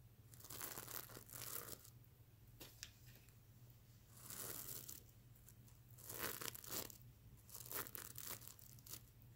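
Fingernails scratch across a soft stuffed mermaid unicorn plush pillow covered in reversible plastic sequins, flipping the sequins from colored to silver. Bursts of bright, crisp rasping and crinkling come in several strokes over a faint low, steady hum.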